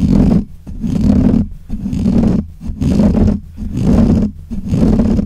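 Fingernails scratch and rub the black hollow metal mesh grille of a desk microphone, producing six rough, rumbling bursts about once per second. Each pass is a deep, scraping roar, heavy in the low end, with little brightness, and the sound dips briefly between strokes.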